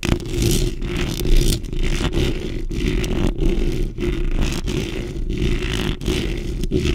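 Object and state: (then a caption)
Metal mesh microphone grille scratched. Long nails and fingertips, with rings on the fingers, scratch across a black metal mesh microphone grille. The result is a steady, close rasping scrape with a heavy low rumble underneath and faint bright edges, broken by brief dips as the strokes change direction.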